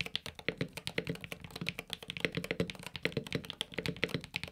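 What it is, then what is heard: Aluminum mechanical keyboard with PBT keycaps. Fingertips type and tap on a Luminkey Magger68 Pro HE, a solid, desk-mounted 65% aluminum magnetic-switch mechanical keyboard with a cream case and cream/orange PBT keycaps. About 35 quick keystrokes land in a steady, rapid rhythm, each a short, dry clack with a muted low thock underneath and a bright top. Every keystroke dies away almost instantly.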